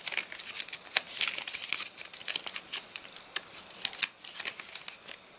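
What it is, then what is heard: Crinkly rain-dried paper catalogue. Fingers pinch, crumple and flip the crinkled pages of an open, rain-dried paper catalogue. A steady run of dry, crisp crackles and sharp snaps sits almost entirely in the bright high range, with no low end, and each crackle dies away at once.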